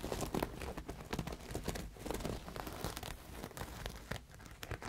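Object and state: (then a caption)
Beaded embroidered fabric. Fingertips and nails scratch and rub across a large pink cloth laid out flat, covered in dense thread embroidery, sequins and metallic beadwork. The result is a steady, quiet, crinkly scratching and rustling, broken by many short dry clicks and crunches that fade almost instantly.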